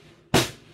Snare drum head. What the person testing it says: you hear that sort of dead sound